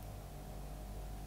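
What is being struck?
Nothing is struck.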